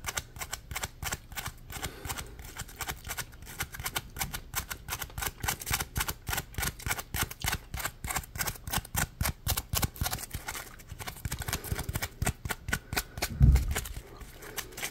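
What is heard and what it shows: Fingers scratch and flick along the ridges of a yellow, palm-sized, solid polymer foam Scrub Daddy sponge. It makes a steady run of quick, dry, crackly taps with bright scratchy edges over a soft low rumble. One heavier, louder flick stands out near the end.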